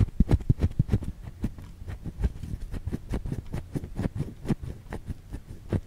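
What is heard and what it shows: Long fingernails scratch a white solid bar of soap held in the hand, making a fast, uneven run of soft, dull scratches and taps. The sound is low and muffled, with each short scrape dying away almost at once.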